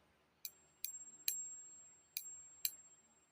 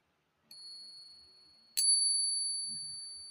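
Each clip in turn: First: non-silver coin (nickel lookalike). Second: real silver coin.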